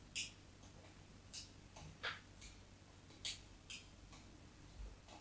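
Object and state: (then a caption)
Bar of soap scraped with a blade. A metal craft knife blade drags shallow grooves across the surface of a solid white soap bar held by hand. Seven short, crisp, bright scratches come at irregular intervals over a quiet, low background hum, each fading almost at once.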